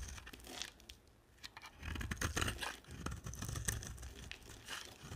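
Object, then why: Bar of soap shaved with a blade. A hand-sized solid bar of dry soap, blue and white, is held in one hand and shaved with a box-cutter blade held in the other. Irregular scraping and carving strokes make dry, crackly crunches and tearing rasps, with a brief quiet stretch near the start. Crumbly chips flake off the bar.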